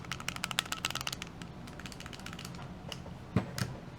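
A Ruger LCP MAX compact pistol, its magazine removed, is shaken close to the microphone and gives a loud, rapid clicking rattle from loose internal parts. The rattle is dense for the first second, then softer, with two sharper knocks near the end.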